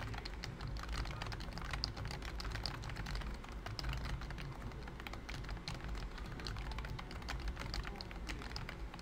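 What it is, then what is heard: Plastic computer keyboard. Fingertips of both hands type steadily on a pink plastic BT21 COOKY computer keyboard with round white plastic keycaps. The result is a continuous run of quick, dry, clicky taps with short bright clacks, over a steady low hum.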